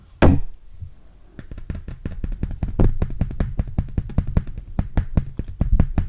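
A glass Narciso Rodriguez Musk Noir perfume bottle is tapped: one solid knock comes first, then after a short pause a quick, steady run of about thirty light, dull taps. The taps are low and muffled, with a faint high glassy ring above them.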